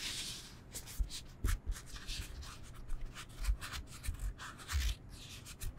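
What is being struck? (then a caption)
Foam yoga block. Fingernails and fingertips scratch and rub the textured surface of a solid rectangular foam yoga block. Dry, bright scraping strokes come in a steady series, each with a soft, dull low thump beneath. The strokes stop short with no ring.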